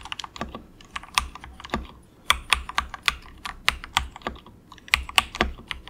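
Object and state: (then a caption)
Plastic mechanical keyboard. Fingertips of both hands type in quick taps on a compact plastic mechanical keyboard with grey and orange plastic keycaps and a hollow plastic case. Each keystroke gives a short, bright click-clack that dies away almost at once. The taps come in irregular bursts with brief pauses between them.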